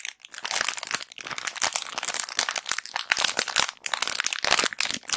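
A clear plastic bag of round cotton pads is crumpled and scratched with long black acrylic nails and fingertips close to the recorder. It makes a dense run of bright, crisp crinkles and sharp crackles with almost no low end. There are brief quiet gaps between bursts of handling.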